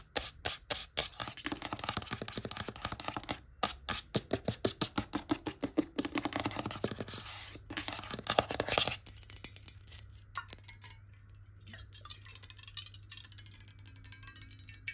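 Long nails tap rapidly on the sides of a clear glass bottle partly filled with water, tilted and then set upright, producing a dense stream of short, bright clicks with a steady low hum underneath. After about nine seconds the tapping thins to sparser, softer taps.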